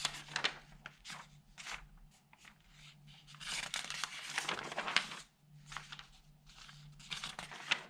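Fingertips rub the sheets of an open newsprint newspaper and turn its pages, crinkling the thin paper. Bright, crisp rustles and crackles come in quick bursts with short pauses between, over a faint steady low hum.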